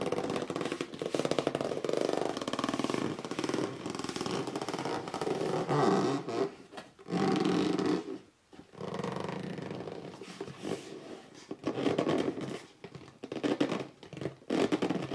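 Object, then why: Cardboard box. Fingertips rub, grip and scratch across the top surface and edge of a hollow red cardboard box lying flat. The result is a steady, dry, papery scraping with squeaky gripping, warm in the low-mids, broken by short pauses around the middle before the rubbing resumes in uneven bursts.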